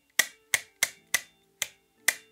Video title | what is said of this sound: [Review] KWA Beretta PMX GBB (6mm Gas Blowback Airsoft/Softair) | À l'intérieur du récepteur, attendez un moment, l'entendez-vous? Donc, ça sonne un peu